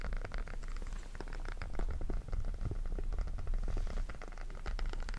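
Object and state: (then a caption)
Silicone pop-it fidget toy. Fingertips press and pop the bubbles of a small, flat, hollow-bubbled rainbow silicone pop-it fidget toy held in both hands close up. The result is a steady, dense stream of soft, muffled pops and light crackles with a heavy low thump beneath them and very little high end.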